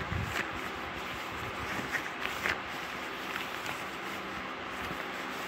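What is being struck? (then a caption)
Soft fleece fabric. Soft yellow fleece-like fabric, a flexible textile with no hard parts, is bunched and rubbed with the hands and fingers close to the microphone. A steady, quiet, breathy rustle fills the clip, with a few brief brighter scratchy swells along the way.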